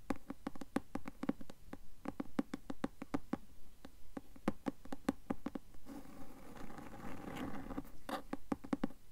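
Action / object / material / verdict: tap / cloth-covered hardcover book / cloth, board / none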